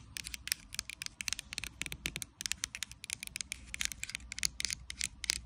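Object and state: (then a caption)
Plastic bottle of liquid tapped and scratched with nails. Long acrylic nails tap and scratch the surface and base of a clear plastic micellar water bottle that is full of liquid and lying on its side. Quick, bright, dry clicks and crackly scrapes come in a dense, uneven stream over a faint low hum, with each tap dying away at once.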